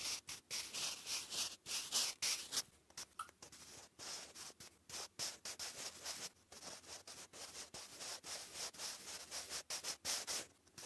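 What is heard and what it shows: A wooden graphite pencil writes cursive on a lined grey paper notebook page, making a dry, bright scratching sound. Short strokes come quickly and a little unevenly, about three to four per second, each a brief hiss that stops at once, with almost no low end.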